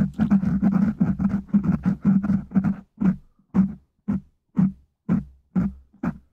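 Fingertips of one hand tap and scratch the top of a black foam windscreen on a microphone from above, making muffled, low, thumping pats. For the first three seconds the taps and scratches come in a fast, busy flurry, then they slow to single soft thuds spaced about half a second apart, each dying away quickly.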